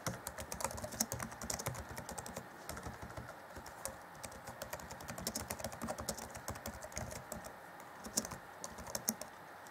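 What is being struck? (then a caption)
Plastic laptop keyboard keys. Fingertips of both hands rapidly tap the black plastic chiclet keys of an Acer Chromebook C20 (2014) laptop keyboard. The result is a fast, steady stream of short, dry clicks with bright, crisp top ends and soft low thuds, each dying away almost instantly.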